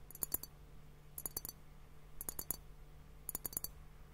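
A fingertip and nail tap on both bulbs of a clear, hollow glass liquid hourglass timer partly filled with pink liquid and bubbles. The taps come in four quick bursts of short, bright glassy clicks with a high ring that dies almost at once, over a faint steady low hum.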